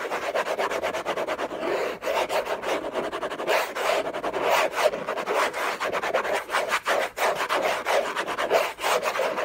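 Short nails scratch fast across the textured surface of a large, flat, hollow orange Hermès cardboard box lid. The result is a dense, continuous raspy rubbing with a hollow midrange tone around 600 Hz, thin bright hiss above, and almost no low end. The level surges and dips with brief gaps as the strokes change.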